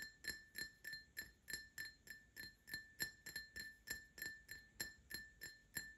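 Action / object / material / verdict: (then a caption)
tap / empty glass tumbler / glass / none. An empty Paladone Mario Kart printed glass tumbler is tapped with short nails, first on its base and then on its side. Twenty-one quick, bright clinks land at roughly three per second, each ringing briefly around 1.8 kHz with high overtones before fading fast.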